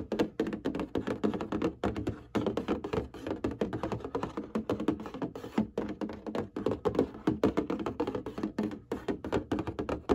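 Fingernails tap and scratch rapidly on the front panel of a printed cardboard box of hanging folders, likely full of folders. The result is a dense, steady stream of short, dull, papery taps with a hollow low-mid tone, little brightness and almost no ring, broken by brief pauses.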